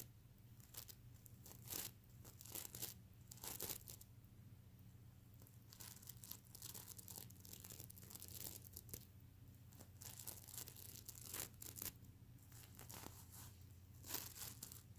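Fingernails scratch and flip the plastic sequins on a soft stuffed plush pillow close to the ear. Quick, bright, crinkly rasps come in irregular bursts, some sharp and tearing, over a steady low hum.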